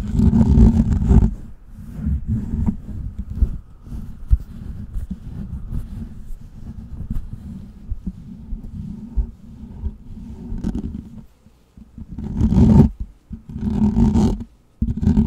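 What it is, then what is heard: Metal mesh microphone grille. Fingertips and nails slowly scratch the hollow metal mesh grille of a large microphone. The sound is a dense, low, rumbling scrape with a steady hum near the low-mid range and no bright top end. It swells into louder rough bursts at the start and again near the end, with brief quiet dips between.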